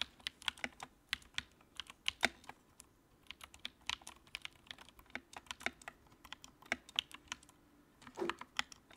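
Fingertips type on the keycaps of a compact white plastic mechanical keyboard with backlight, producing a steady run of short, crisp clicks in irregular rhythm. The clacks are bright and dry, each dying away almost instantly, with a slightly fuller, thicker burst of keystrokes near the end.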